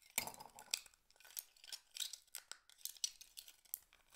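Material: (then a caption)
Shell. Fingertips with medium nails scoop a handful of small, hollow, empty blue-black mussel shell halves from a pile on a board and rub and clink them together in cupped hands. Quiet, bright clinks and scratchy rattles come in a quick, uneven series, each dying away almost at once with almost no low end.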